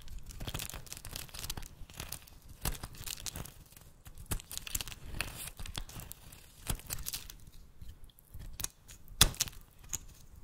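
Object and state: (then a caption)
Bar of soap being cut. A metal blade cuts crumbly chunks off a solid, rancid yellow bar of soap held in the hand and shaves its surface. Dense, dry scraping and crunchy cutting strokes come one after another, bright and crackly over a low rumble, with a few sharper snaps standing out near the end.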